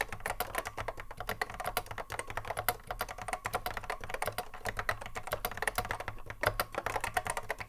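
A cream Apple M0110A keyboard, with a hollow plastic case and Alps SKCC mechanical switches, sits on a wooden desk while the fingertips of both hands touch-type continuously. The result is a quick, steady stream of sharp, short clacks with a hollow mid-pitched tone, each dying away almost instantly, over a faint low hum.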